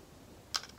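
A small, thick, empty clear glass bowl is tapped with long nails, giving two sharp, bright clicks after a moment of quiet. Each tap is a dry, high tick with almost no ring, and the second is a little louder.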